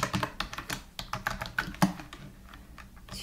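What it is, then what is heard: Plastic computer keyboard. A slim white full-size computer keyboard with plastic keys, resting on a black desk mat, is typed on steadily with the fingertips of both hands. Around nineteen quick, light plastic clicks and taps come in an uneven run, each with a short, dull thock and a brighter tick on top. The typing thins out and softens toward the end.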